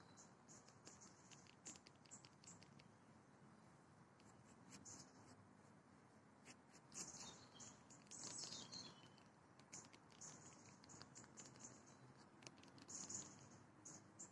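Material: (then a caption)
Plastic. A round, dark blue moulded plastic disc swing seat on a rope, likely hollow underneath, is tapped and scratched with long nails and fingertips. The result is a quiet, continuous patter of light, bright clicks and scraping. Birdsong chirps in the background.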